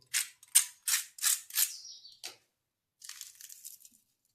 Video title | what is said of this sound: 🐟कमी साहित्याची मच्छी फ्राय - घरगुती स्टाईल 🌶️मसालेदार मच्छी फ्राय 🦈 - Marathi Fish Fry Recipe | आवाज एकदम कुरकुरीत आवाज येतोय